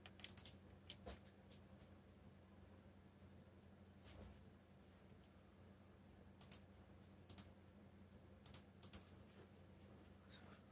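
Fingertips type on the keycaps of a backlit black plastic mechanical keyboard, giving short, bright clicks in scattered bursts and pairs. A steady low hum runs underneath between the keystrokes.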